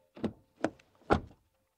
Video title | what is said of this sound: Essai du Škoda Superb Sportline 2026: Un Choix Plus Raisonnable qu'un Class-E ou Série-5 ? | Les sons de fermeture des portes, ça sonne bien. C'est solide, je dirais.